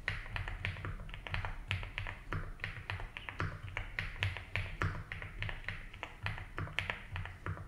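Fingertips type slowly on a 75% mechanical keyboard with ABS keycaps in a light blue plastic case. A steady run of short, crisp clacks rises over a constant low hum. Each key tap ends quickly, with bright clicky tops.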